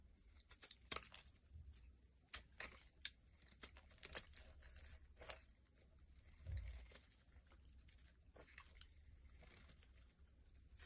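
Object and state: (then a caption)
Bar soap being scraped and shaved. A solid white bar of soap held in the palm is scraped and cut with a blade, shaving off curls and flakes. Quiet, irregular crisp scraping and crumbly crunches come in bright, short bursts over a soft low rumble, with a slightly fuller thud near the middle.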